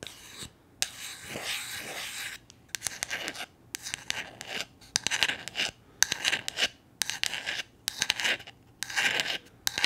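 Long nails scratch and scrape across a small, solid, flat painted wooden gnome figure. Bright, raspy scraping strokes come in short bursts separated by brief pauses, with almost no low end. The strokes quicken into denser scratching toward the end.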